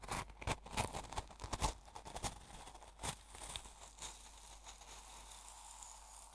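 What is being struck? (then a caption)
Coarse salt in a small glass jar, stirred with a metal spoon. A metal spoon scoops and stirs coarse salt in an open small glass jar full of the crystals, crunching them. Dense, gritty crunches and scrapes with bright, crackling edges come in a quick irregular cluster during the first three seconds, then fade into a softer, steady grainy hiss.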